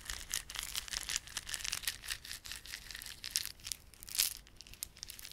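Fingertips rub and squeeze a small clump of plastic garland held in both palms, made of solid, glossy dark blue and silver plastic beads with red spiky plastic fringe. The result is a dense run of bright, dry clicking and crinkling in quick, uneven bursts, with almost no low end. The loudest burst comes near the end.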